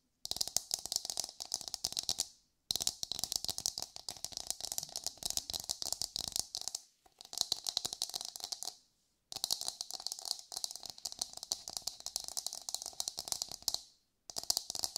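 Long pale almond-shaped nails rapidly tap and scratch the hard dome of an empty, hollow brown coconut shell half held up facing forward. The result is dense, crisp clicking and scraping, mostly bright and high with a faint hollow midrange tone near 700 Hz. It comes in several long bursts separated by brief silences.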